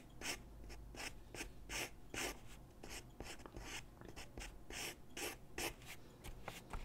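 A graphite pencil scratches and rubs across a large white sheet of drawing paper lying flat on a wooden desk while shading a sketch. Short, bright, scratchy strokes come in an uneven rhythm over a steady low hum.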